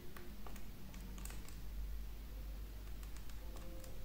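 A solid green wax candle held in hand is carved with a small metal knife, the blade scraping off wax shavings that pile up on the blade and the table. Soft, quiet scrapes and light ticking cuts sit over a steady low hum that runs through the whole clip.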